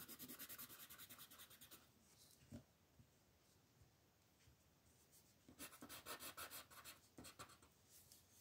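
A green colored pencil with a wooden body and wax-based lead is rubbed back and forth in fast shading strokes across a large, thin sheet of paper printed with an ornate letter M, lying flat on a dark wooden table while one hand holds the pencil and the other steadies the sheet. Quick bursts of bright, scratchy rasping strokes come in two runs, separated by a quieter stretch with only a faint tap and light scraping. The strokes sound dry and papery with little low end.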